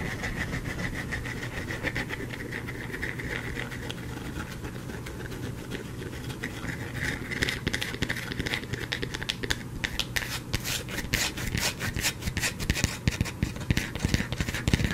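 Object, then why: Bar of soap. A solid white soap bar, partly worn down, is held up in the hand and scratched with fingernails. Soft, dry scraping runs over a steady low hum, and after about seven seconds it turns into louder, sharper, bright scratches in quick bursts.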